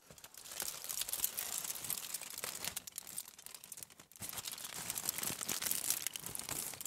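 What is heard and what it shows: A crumpled aluminium foil bundle resting on a table is scratched and crinkled with the long nails of both hands. The result is a steady stream of bright, dense crackling and crinkling with many tiny snaps and almost no low end. There is a brief dip in level just after four seconds.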